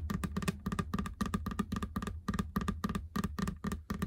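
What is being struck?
Textured rubber treadmill belt.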